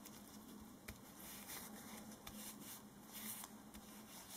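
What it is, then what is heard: Duct tape strip being rubbed. A short, flat strip of black duct tape is held between hands in disposable latex gloves while the fingertips rub it and press it down, making quiet, bright sticky crackles and soft patters with a few sharper ticks. The gloves rubbing may add to the sound, and a tape roll sits idle nearby.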